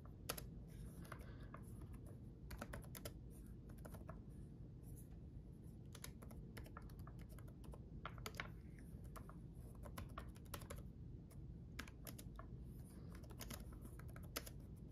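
Fingertips of both hands type on a black laptop keyboard with red backlit plastic keys. Sharp, bright clicks and taps come in quick, irregular runs over a steady low hum throughout.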